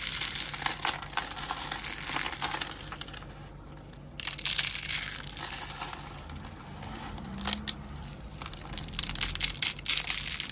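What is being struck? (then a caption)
Rolled soap ribbons. Dry blue soap roses made of rolled soap ribbons are crushed in the hand and pressed with the fingertips into brittle flakes. The result is a dense, bright, crackling crunch in irregular bursts, with quieter stretches between them.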